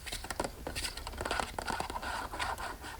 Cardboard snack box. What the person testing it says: it's Hollow at the moment there's nothing inside